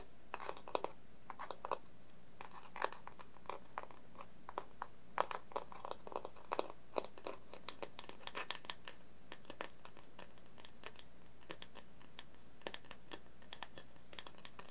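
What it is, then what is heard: Wooden plate. Fingertips of both hands tap the underside of a round, plain, dark wooden plate, a hollow, shallow, empty dish held up in the air. Quiet, dry, crisp taps come in quick irregular bursts and flurries, each with a hollow mid tone and a very short decay. A steady low hum runs underneath throughout.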